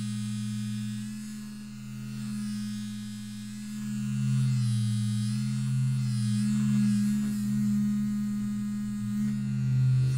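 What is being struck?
Nothing is struck.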